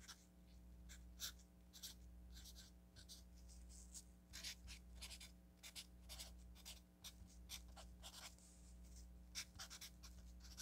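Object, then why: Paper sticky note pad with felt-tip marker. A felt-tip marker writes on an orange paper sticky note pad resting on a table, making quick, bright, scratchy strokes in an irregular rhythm. A steady low hum sits underneath the strokes throughout.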